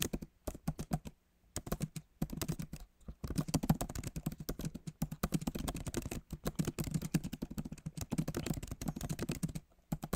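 Fingertips of both hands type quickly on a backlit MacBook Pro keyboard with solid plastic keys set in an aluminum body. The rapid, soft, low taps and clicks are short and dry, with a couple of brief pauses between bursts of typing.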